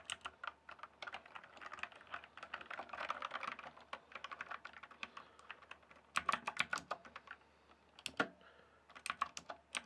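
Fingertips type on a full-size backlit plastic RGB computer keyboard. Rapid, dry key clicks come in dense bursts with short pauses, one near the end. The taps are crisp and bright with almost no low end.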